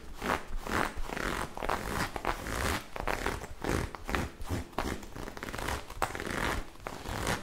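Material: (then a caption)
Knit fabric. Long acrylic nails rapidly scratch and rub a bunched-up magenta ribbed knit fabric garment held in the hands. The result is a fast, continuous run of rasping, zipper-like scrapes and soft crunches, with quick bursts rising and falling in loudness throughout.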